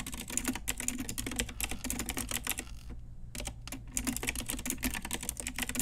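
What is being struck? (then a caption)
Plastic mechanical keyboard keys. A full-size pink Ajazz typewriter-style retro mechanical keyboard, with round plastic keycaps on a hollow plastic case, is typed on with long nails and fingertips. Rapid, bright plastic clicks and clacks patter steadily over a low hum. The typing pauses briefly near the middle, then resumes at the same brisk pace.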